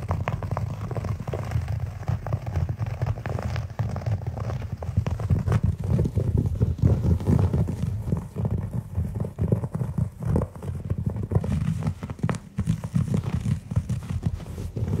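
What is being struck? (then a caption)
Synthetic shag carpet. A large beige synthetic shag-style carpet on the floor is scratched and patted with the bare fingertips and short nails of both hands, close to the microphone. The result is a dense, steady stream of soft, muffled taps and rustling scratches, heavy in low thumping tones, with short bursts that die away almost instantly.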